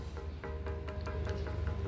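An old stone that was once hung and used as a bell is knocked repeatedly, giving a series of short, bright taps that ring briefly over a steady low hum. The stone rings with each knock, and each ring fades quickly.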